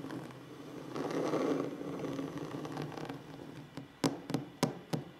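Fingers scratch and tap on a wooden table in a relaxing ASMR session. A continuous rough, scratchy rustle fills the first few seconds, then fades into six separate short, dry knocks on the wood with little ring.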